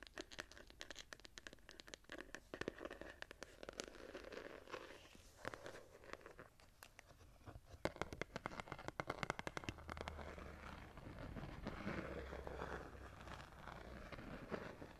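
Long painted nails and fingertips scratch and tap across the ornate gold-foil embossed hardback cover of a small, solid, closed notebook-sized journal, both while it is held and while it is laid flat. Many quick, dry clicks and taps with almost no ring sit over a soft, crinkly scratching rasp at a quiet level, with a low muffled rumble in the second half.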